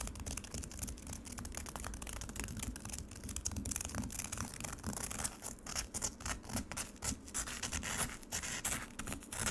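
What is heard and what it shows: Long nails quickly scratch the grainy, icy surface of frozen lemonade in a black plastic tray. The result is a dense run of rapid, crackly scrapes with bright, gritty high tones over a steady low rumble, with no ringing between strokes.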